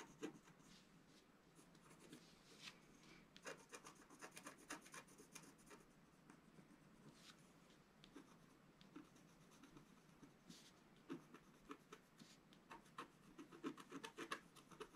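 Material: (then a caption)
Coated paper. A wooden stylus scratches lines into a flat, black-coated scratch-art sheet of about A4 size, with a colored layer underneath, lying flat on a table while the other hand holds the sheet steady. Soft, dry scraping and rubbing strokes come in quick, uneven bursts over a quiet background, each one short and bright with crisp high edges.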